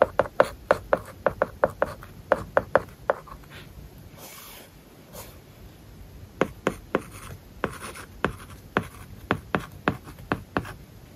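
A stylus tip writes on an iPad glass screen covered with a plastic, paper-like matte film. It makes a run of short, dry taps and scratchy strokes. A quieter pause with faint rubbing falls in the middle, then the tapping resumes.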